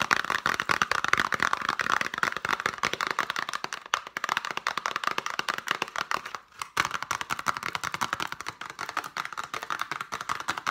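Long painted nails rapidly tap and scratch the faces and edges of a small, hollow, printed cardboard chocolate box. The result is a dense stream of quick, dry, bright clicks and scrapes with almost no ring, briefly dropping away around 6.5 seconds before resuming.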